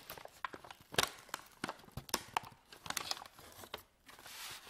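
A medium white paper bag, empty and hollow, stands on a table while fingertips and nails crinkle and fold its top edge. Quiet, crisp crackles and sharp papery snaps come in uneven bursts, bright and dry with almost no low end. The clip ends in a softer, steady rustling hiss.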